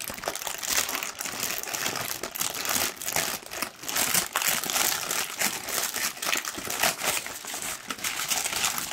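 A large, thin pink tissue paper sheet is held up and rumpled and crinkled by hand. It makes a steady, dense crinkling and rustling that is bright and airy, with almost no low end. The sound swells and dips slightly as the sheet is worked.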